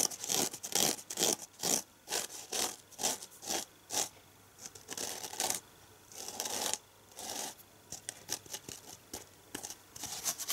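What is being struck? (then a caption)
Foam kitchen sponge with abrasive scouring pad. Fingernails scratch quickly along the green abrasive scouring side of a red foam kitchen sponge held upright. Rapid, uneven bursts of bright, dry rasping follow each other, with a few longer scraping strokes in the middle, all high-pitched with almost no low end.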